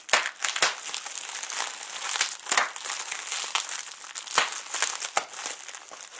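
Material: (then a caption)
Plastic. A clear plastic bubble wrap sheet with air-filled bubbles is scrunched and crinkled with both hands close up. It makes a steady, bright crinkling rustle broken by sharp, crackly snaps that fade almost instantly, with no low-end body.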